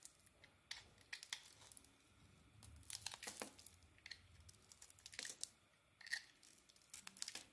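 A solid rectangular Alterra soap bar with a red striped coating and a lilac core, held in the hand, is shaved with a metal box-cutter blade. Quiet, bright, crisp scraping and crackling strokes come in irregular bursts, with faint rasping between them and almost no low end.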